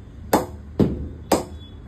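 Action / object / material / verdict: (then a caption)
tap / willow cricket bat struck with a leather ball / willow / good ping. An old cricket ball is tapped three times on a willow cricket bat with about nine straight grains in a ping test. Each tap gives a short, sharp knock with a brief ring around 200 Hz, and the bat is judged a perfect bat for hitting.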